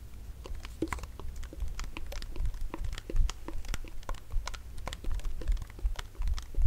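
A tall, cylindrical metal aerosol shaving cream can with a printed label and visible barcode, hollow and partly full, is held in one hand and shaken rapidly. The contents and the mixing ball rattle inside as a quick stream of short, bright clicks and taps. A steady low rumble runs underneath.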